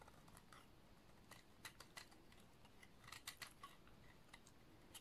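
A snap-off utility knife blade repeatedly shaves thin shavings along the edge of a solid, dry, green oval bar of soap. Faint, irregular crisp scrapes and bright, crunchy clicks sound over a low, steady background rumble, each one dying away almost at once.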